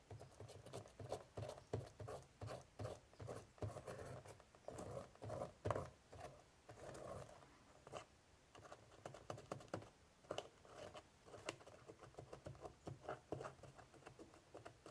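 A cotton swab scratches rapidly in the crevices of a hollow woven straw basket lid held by hand. The result is a quiet series of short, dry, hollow scratching bursts with a mid-range body and a faint bright edge, pausing briefly midway before continuing.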